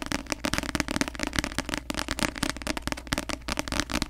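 Long nails tap fast on the glossy cover of a paperback novel, making a rapid, continuous run of short, crisp clicks with a bright edge. Each tap dies away almost instantly over a steady low hum.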